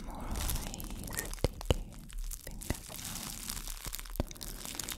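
A clear, thin, empty plastic wrap bag is crumpled and crinkled in hands with long dark nails. A steady bright rustle of crinkling plastic is broken by a few sharp, dry crackles that stop instantly.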